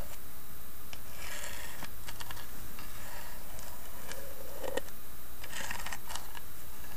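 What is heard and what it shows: Long nails tap and scratch across the carved, inlaid lid of a small, hollow carved wooden box. Soft, dry clicks and brief scratchy rasps come in loose clusters over a steady low background hum, all at an even, quiet level.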